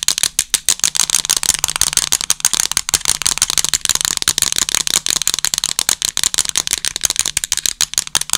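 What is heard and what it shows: Long acrylic nails rapidly tap and scratch the buttons and casing of a small, hollow black plastic TV remote control held horizontally against the microphone with both hands. The result is a fast, steady stream of dry, bright clicks and scratchy ticks that stop instantly, with almost no low end beneath them.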